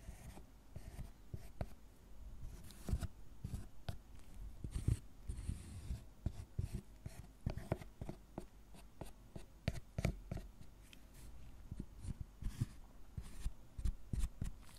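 A gloved hand scratches and carves a solid milk chocolate tablet on a wooden board with a thin metal tool that has a wooden handle, piling shavings on top. Quiet, dull scraping and short crisp scratches repeat irregularly throughout, with most of the sound low and muffled and only brief bright flecks.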